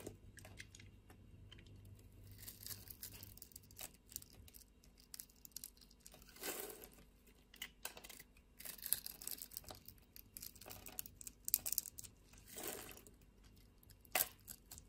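A metal utility blade scrapes cubes and flakes off a solid pink bar of soap with a scored crosshatch surface. The result is a quiet, steady run of crisp, bright scratching and crackling with many tiny dry clicks, swelling briefly into longer rasping strokes around the middle and near the end.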